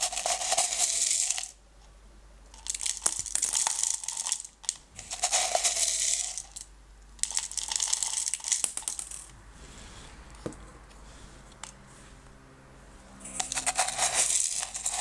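Fingertips stir and scratch through small blue-green decorative stones in an open small clear plastic jar. Bursts of bright, dense rattling and gritty scraping come in waves, with short quiet gaps and a softer, sparse stretch of faint clicks in the middle before a final busy burst.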